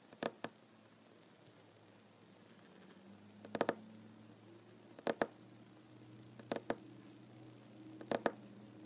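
Slow tapping with short fingernails and fingertips of one hand on a large solid wooden tabletop with plank seams. Five pairs of short, dry, clicky taps come at spaced intervals, each dying away almost at once, over a quiet low background hum.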